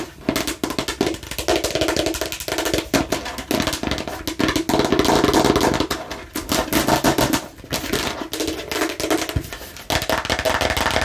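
A plastic toy watermelon slice is tapped and scratched aggressively. Rapid, dense clicking taps with a hollow mid-range tone blend with bright scratching rasps. The sound stays busy and sustained throughout, with only brief dips between flurries.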